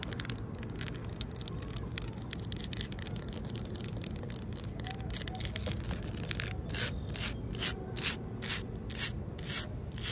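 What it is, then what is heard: Concrete ledge. Fingertips and long nails scratch and rub a large, solid outdoor concrete ledge. Quick, dense gritty strokes of bright scraping ride over a steady low rumble. In the last few seconds they slow into more distinct, separated rasps.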